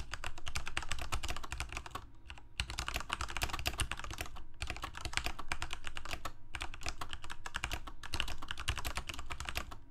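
Fingertips of both hands type steadily on a Corsair K68 full-size mechanical keyboard with plastic keycaps, Cherry MX Red switches and a backlight, resting on a desk. Rapid, bright plastic clacks run in dense bursts over a low thock, with brief pauses near 2, 4.5 and 6.5 seconds. Each keystroke dies away quickly.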